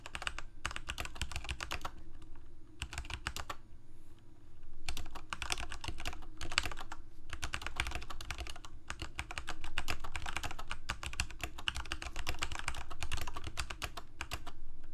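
Fingertips of both hands type on a Corsair K68 full-size mechanical keyboard with plastic keycaps, Cherry MX Red switches and a backlight, resting on a desk. Rapid, irregular clacks come in bursts separated by brief pauses, each keystroke a short, dry click over a deep, thumpy bottoming-out sound that fades almost instantly.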